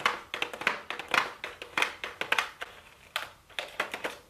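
A pink "MAKE STUDIO" cardboard makeup palette box with a clear plastic window, held in the hands, is tapped with super long blue acrylic nails. A quick, uneven run of crisp, bright clicks follows, each dying out almost at once with no low-end thump.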